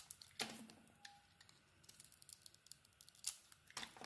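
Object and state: Bar soap being carved.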